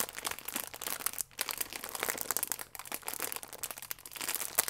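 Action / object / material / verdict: scrape / plastic film croissant wrapper / plastic film / none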